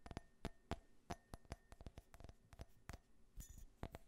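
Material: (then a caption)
Glass. Fingernails tap an empty, small hollow glass tumbler printed with an American flag design, held near the microphone. About fifteen quick, irregular taps make short, clicky glass chinks that fade almost at once, with a dull low thump under each. A faint, steady hum runs underneath.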